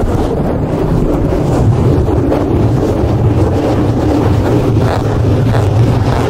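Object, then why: Foam microphone windscreen. Fingertips and short nails of both hands scratch and rub a soft, porous black open-cell foam windscreen over a large microphone head. The result is a steady, loud, low rumbling rustle with a strong bass hum around 90 Hz and constant scratchy texture, with no separate hits.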